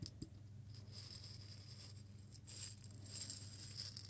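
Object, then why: Small glass jar holding seeds or grains. A small clear glass jar held in both hands is rotated and shaken, so a small amount of grains or seeds rattles inside, with fingertips possibly tapping the glass. The result is a quiet, steady, bright rattling hiss over a low hum, with a few slightly louder swells and no clear rhythm.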